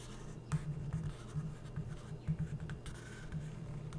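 A felt-tip permanent marker held in the hand is drawn and rubbed across the printed page of an open glossy paper magazine lying flat, with thin coated pages, while tracing a cartoon figure. Soft, dry scratching strokes come and go over a steady low hum, with several slightly louder bursts as the tip drags across the paper.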